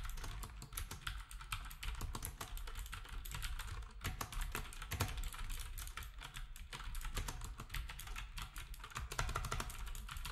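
Fingertips type steadily on a black compact plastic typewriter-style keyboard with round plastic keycaps. Rapid, closely spaced clicks and clacks run throughout over a constant low hum, while the other devices nearby stay untouched.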